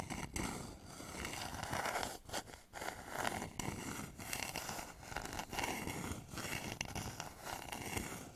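Fingernails scratch and tap the outer side of a hollow, polished wooden bowl turned upside down over microphones. A steady, raspy scraping carries a hollow midrange resonance, with brief pauses and light taps mixed in.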